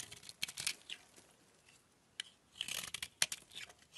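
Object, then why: Bar of soap. A utility knife blade scrapes along a solid oval peach-colored bar of soap held in the hand, chipping flakes off it. Dry, bright scraping rasps and crisp chipping clicks come in short bursts, with a quiet pause in the middle. A final cluster of sharp scrapes and clicks follows.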